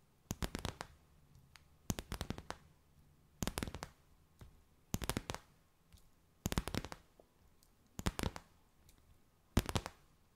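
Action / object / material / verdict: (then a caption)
tap / stiff clear plastic bag / plastic / none. A clear, stiff, empty plastic bag stretched between the hands is slowly tapped and crinkled with long white nails. Seven short bursts of sharp, crackly taps and crinkles, bright and crisp with almost no ring, are separated by quiet pauses over a faint low hum.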